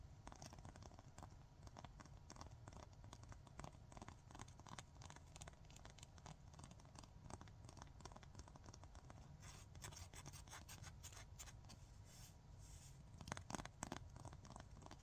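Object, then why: Emery nail file. Fingernails scratch quickly back and forth along the gritty surface of a long, thin, solid 100/180 grit emery nail file, making dense, rasping scrapes that flare in brief louder bursts near the end. A steady low background noise runs underneath throughout.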